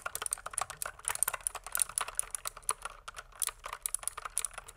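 Fingertips type continuously on a pink plastic mechanical keyboard, producing rapid, closely spaced clicky keystrokes with bright, high overtones and very little low end. The taps are short and dry, fading almost instantly.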